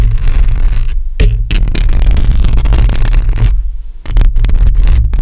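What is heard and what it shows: Long acrylic nails on both hands scratch a hollow metal mesh microphone grille, making a loud, dense, rumbling scrape heavy in low boom around 100 Hz. The scratching runs almost continuously, easing briefly near one second and again just before four seconds before resuming at full strength.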